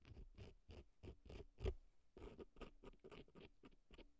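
A cotton swab scratches and rubs inside the canal of a right silicone elf ear prop packed with dry floral foam. It makes quiet, crisp, crunchy scratching in quick, evenly spaced bursts, with one louder scrape midway. A faint steady low tone hums underneath.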